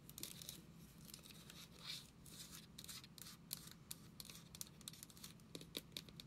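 Long nails tap and scratch the label and body of a travel-size white plastic lotion bottle with a brown screw cap. Soft, bright scratching runs throughout, broken by many short, sharp taps, over a faint low hum. The sounds are quiet and close, with no ring after each tap.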